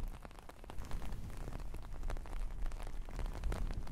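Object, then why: Long-pile faux fur fabric. A large red and black long-pile faux fur fabric, soft and flat rather than hollow, is laid across the microphone while both hands, with long painted nails, scratch and rub through its fibres. The result is a dense, steady crackling rustle with a heavy low rumble, dotted with many quick soft scratches throughout.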